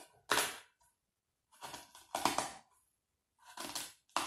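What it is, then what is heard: Coarse salt crystals crunched in a tray. Fingertips press a small green plastic cookie cutter into a loose layer of coarse white salt, possibly Epsom salt, in a shallow black round tray, stamping circles and compressing the crystals. There are five separate dry, gritty crunching bursts with bright, crackly high detail and quick decays, with short silences between them.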